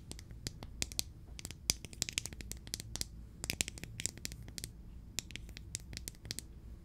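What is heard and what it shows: Long nails tap and scratch the lid and sides of a small clear plastic jar filled with green glitter and closed with a black plastic screw lid. The result is a quick, irregular run of sharp, bright clicks and scrapes with almost no ring, over a faint low hum.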